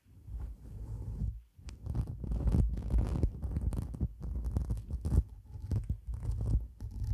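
Long black nails scratch quickly into a white shaggy synthetic fur windscreen on a microphone, working the fibers from both sides. The result is a deep, muffled rumbling rush of irregular scratchy bursts, with a brief drop to near silence about 1.5 seconds in.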